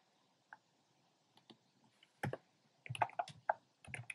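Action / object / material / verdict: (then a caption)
tap / plastic mechanical keyboard / plastic / none. Fingertips with short nails type on a compact plastic mechanical keyboard with a black plastic case and round pink, red and cream plastic keycaps. A few isolated, quiet clicks give way to a quicker run of sharp, clacky keystrokes that stop almost instantly. The clicks are mostly midrange, with a little low thud and bright tick.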